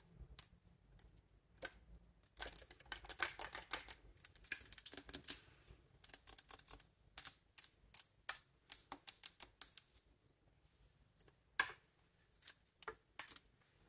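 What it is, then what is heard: Bassoon keywork. Fingertips and nails tap and press the silver keywork of a large hollow wooden bassoon held upright, with the hand partly covering the instrument at the start. The result is a dense run of quick, dry, bright clicks with almost no ring, coming in clustered bursts and pauses like rapid typing.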